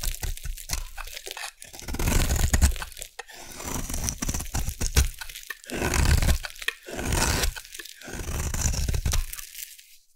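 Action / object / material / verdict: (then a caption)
scrape / bar of soap / soap / none. A solid light blue bar of soap, held in the hand, is carved with a metal blade into crunchy shavings. Repeated waves of dense, crisp crunching and scraping swell and ease, with a deep body under a bright crackle, before trailing off at the end.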